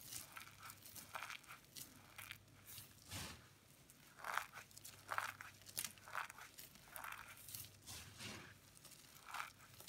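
Dry white, orange and yellow soap shavings in a bowl are rubbed and scooped by fingertips with long pink nails, then crushed and squeezed by the handful between both palms. The sound is a steady run of soft, crisp crunches and crinkling rustles with bright, papery edges, each crush short and dry over a faint low hum.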